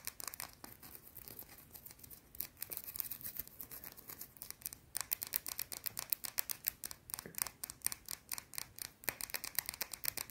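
Long blue nails scratch and tap fast on a small, round, solid white soap bar held in both hands. The sound is a quiet, bright stream of crisp scratches and many sharp, dry clicks with almost no ring and very little low end. The clicks come denser and sharper in the second half.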